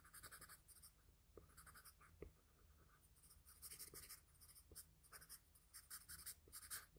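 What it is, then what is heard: Graphite pencil shading on paper. The tip of a wooden graphite pencil, held in the fingers, shades the nose area of a drawing on flat drawing paper lying on a table. It makes short, repeated, quiet scratching strokes with a bright, hissy texture over a faint low hum. One sharper tick stands out partway through.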